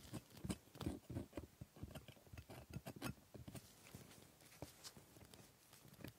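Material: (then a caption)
Plastic. A metal dental scaler picks and scrapes at the plastic teeth of a typodont dental model. Quick, irregular clicks and short scratchy scrapes follow one another, each dying away almost instantly, with a dull low body and a faint bright edge.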